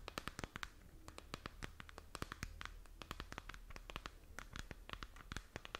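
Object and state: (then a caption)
Plastic moon lamp. A glowing, hand-span-sized spherical moon lamp with a textured plastic shell is held in both hands and scratched with long nails. The result is a quiet, steady run of short, dry, bright scratching ticks, each dying away almost instantly, over a faint low hum.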